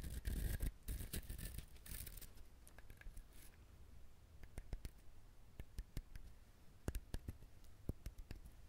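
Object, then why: Coconut shell. A coconut shell is handled, scratched and tapped up close. A dense, rough scratching fills the first couple of seconds, followed by quieter rustling broken by scattered sharp, dry taps with little ring.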